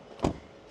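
A door of a Skoda Kodiaq RS is closed, giving a single short, low thud with a quick, tight decay. It sounds solid.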